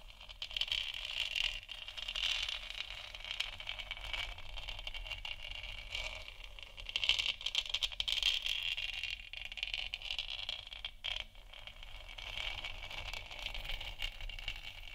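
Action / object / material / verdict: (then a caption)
scrape / textured plastic lamp sphere / plastic / none. Long nails scratch the side and bottom of a large hollow, textured plastic moon lamp sphere. A steady, bright, raspy scraping with a strong hiss near 3 kHz swells and fades over a faint low hum, with no clear separate taps.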